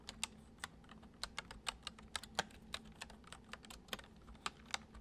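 Fingertips tap the keys of a full-size white plastic computer keyboard resting on a wooden desk, typing at an uneven pace. About twenty short, bright clicks stand out over a faint, steady low hum, each dying away almost instantly.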